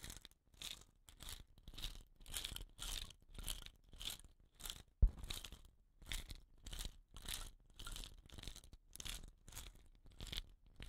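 Fingertips and nails scratch the woven rattan binding at the ends of a hollow, dot-painted bamboo rain stick. The result is a steady series of short, rough scratching bursts with a bright, crinkly hiss over a soft low rumble, plus one sharp click about halfway through.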